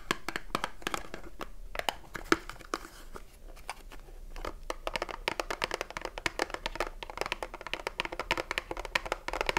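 Long nails tap and scratch the back panel of a small cardboard soap box with a bar inside, turned to show its barcode. Dry, crisp taps with bright clicks are broken by a quieter stretch of papery scratching, then give way to faster, denser tapping with a short, dead decay.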